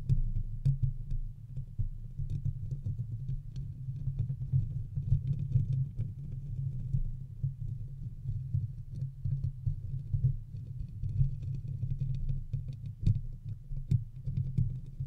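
Fingertips and nails of both hands continuously scratch and tap the bare, hollow wire-mesh head of a silver condenser microphone. The result is a dense, rough, low-heavy rumble and thumping with quick, sharp clicks scattered throughout, running steadily for the whole clip.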